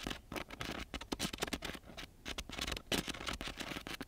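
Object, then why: Coarse sandpaper sheet scratched with a pen tip. The metal tip of a black-gripped ballpoint pen scratches quickly across a flat sheet of brown, very gritty coarse sandpaper lying on a surface. Rapid, irregular rasping strokes come as short, dry bursts of broadband grit noise with bright edges and almost no ringing.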